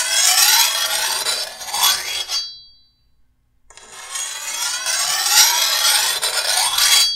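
A metal file is pushed by hand along the edge of a long, solid steel machete blade held pointing forward, sharpening it. Bright, hissing rasps with rising sweeping strokes fill the first two and a half seconds, then stop for about a second of silence. The filing resumes in a steady, scraping rhythm to the end.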